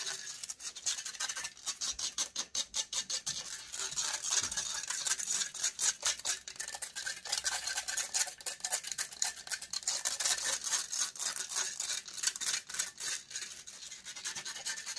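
Long acrylic nails scratch rapidly and aggressively across the metal mesh head of a silver USB microphone. A dense run of quick, bright, rasping strokes with almost no low end fills the clip. Each stroke stops dead with no ring.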